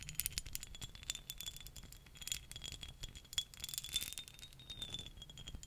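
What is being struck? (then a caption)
Small glass perfume bottle with cap. Long nails tap and scratch across the glass faces of a small, dark green glass perfume bottle with a cap, held in the hand. The result is a dense run of quick, bright, clicky taps and scratchy brushing, each dying away almost instantly. A faint steady tone sits near 3 kHz underneath.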